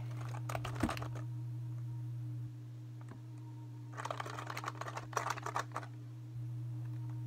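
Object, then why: Plastic computer keyboard. Fingertips rapidly press and tap the keys of a full-size black plastic computer keyboard with backlit keys and a hollow plastic body, held up close in both hands. Two bursts of quick, dense clicking taps, one early and a longer one later, rise over a steady low hum. The hum drops slightly in the middle stretch before returning.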